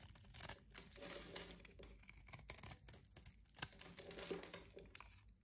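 A knife blade cuts a solid light-green bar of soap held in the palm into small cubes and scrapes away the crumbs. The result is a steady run of dry, crunchy, crackling cuts and scrapes with a bright, hissy edge. The sharp peaks rise above a continuous crumbly texture.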